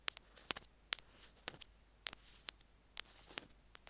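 A small white plastic earphone mic/remote is tapped and scraped along its casing by two metal ear-pick tools. Sharp, very short, bright clicks land at an uneven pace, with faint scraping hiss between them and almost nothing in the low end.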